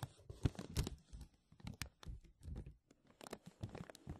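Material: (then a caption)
Plastic. Fingers grasp and crinkle a thin, clear, embossed plastic vacuum-seal bag draped over a mesh microphone dome. Irregular bursts of crackling and tearing-like crinkles come in uneven clusters with brief quiet gaps. A heavy low rumble from the handling sits beneath sharp, bright crackle spikes.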